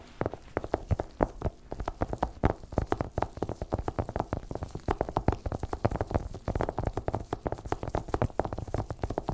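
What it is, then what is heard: Cardboard product box tapped. A small, long, closed white cardboard Apple Pencil box, hollow and likely still in its clear plastic shrink wrap, lies flat on a fluffy white blanket and is tapped rapidly by the fingertips of black nitrile-gloved hands. The result is a dense, uneven stream of quick, dull, hollow knocks with a woody mid-range body, a soft low thump, and almost no ring.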